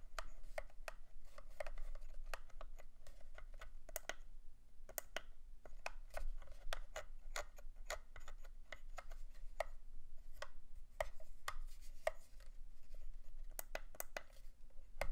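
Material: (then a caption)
Plastic. Fingertips and long nails tap and click on the matte, textured shell and sticks of a hollow, black hard-plastic radio controller for a Protocol Slipstream quadcopter stunt drone, held in both hands. The result is a steady run of short, dry, bright clicks and taps that die away almost instantly, over a quiet low hum.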